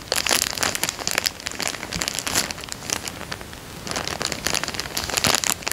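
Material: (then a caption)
Plastic. A small, empty, clear plastic coin bag resting on a fabric couch is pressed with the whole hand and crinkled with the fingertips. Bright, dense crackling rustles come in bursts, ease into a softer stretch around the middle, then swell again toward the end.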